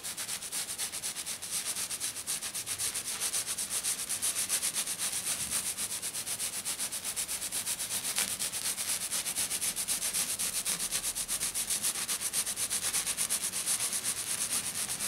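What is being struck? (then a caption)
Glitter-coated sheet. Both hands rub and scratch a flat silver glitter sheet lying on a table, using fingertips and nails. The result is a fast, steady, bright scratchy hiss that pulses at about four strokes per second, with almost no low end.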